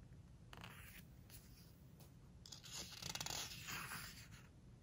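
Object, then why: Glossy paper pages of a hardcover book. Long nails and fingertips scratch and rub across a glossy paper page of a large open hardcover book, then turn the page. Soft, bright scratching strokes give way to a louder crinkling, crackling rustle as the page is lifted and turned, easing off at the end.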